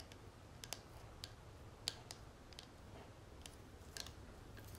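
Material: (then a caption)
Metal. Long nails tap and scratch on a small flat gold-tone metal cigarette case with a textured dotted lid, lying on a marble surface. About ten sharp, bright, quiet clicks ring only briefly over a soft scratching rustle and a low background rumble.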